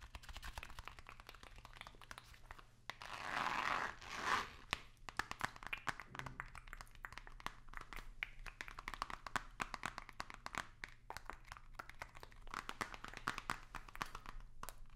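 A long, narrow, hollow white cardboard box, held vertically, is scratched and tapped with long nails. Quick, dry clicks and scratchy crinkles run throughout, with a louder, bright rubbing swish between about 3 and 4.5 seconds. A faint steady low hum sits underneath.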